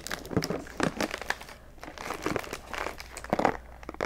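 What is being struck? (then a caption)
Thin clear plastic candy tub. Long nails tap and scratch the lid and sides of a round, thin, clear plastic tub of Zachary jelly pumpkin candies with a paper label, full of candy. The result is a quick, uneven run of crisp plastic clicks and crinkly scratching, with each tap dying away almost at once.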